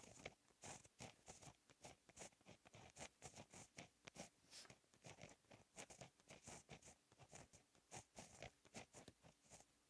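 A fine-tip gel pen writes Korean cursive in blue ink on a lined black paper notebook page lying flat on a solid surface. Quiet, rapid, continuous scratching comes in short bright strokes with a gritty, crunchy texture as the tip drags across the paper.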